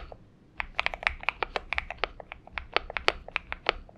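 Fingertips of both hands type on a purple Xinmeng M71 mechanical keyboard with PBT keycaps. After a quiet half second, about 19 separate key presses follow as short, bright, dry clacks with almost no ring.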